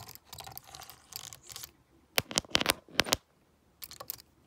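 A stone face roller is rolled by hand over the keypad of a hollow black plastic graphing calculator, clicking the keys. Soft, dry rolling rustles give way to a run of sharp, bright plastic clicks with almost no ring, then a few quieter clicks at the end.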